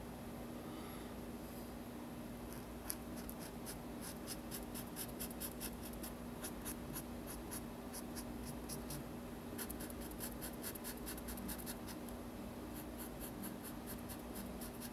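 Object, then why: Marker on a paper sketchbook page. A black marker rubs quick strokes across the white paper page of a spiral sketchbook while coloring the head area of a drawing. Soft, bright scratchy squeaks come in two dense runs with a short pause between them, over a steady low hum.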